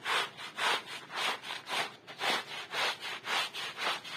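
A small flat woven striped wool rug, soapy and wet, lies on a plastic sheet and is scrubbed back and forth with a handheld plastic bristle brush while the other hand holds it in place. The brush gives a steady, rhythmic, bright swishing rasp on the wet fabric, with strokes alternating in a regular back-and-forth pattern.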